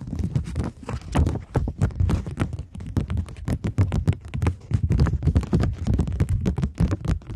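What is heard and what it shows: A thin plastic polymer £20 banknote is held in both hands, tapped and scratched with long nails, and flexed. The result is a dense, steady run of quick, dull taps and soft crinkling scratches, mostly low and thumpy, each one dying away almost instantly.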